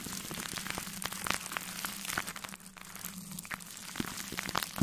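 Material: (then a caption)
Plastic film. A large soft makeup brush, held in a gloved hand, is brushed over a metal mesh microphone grille wrapped in plastic cling film. It makes a continuous crinkly, crackling hiss, bright and rain-like, with scattered sharp pops. A steady low hum runs underneath.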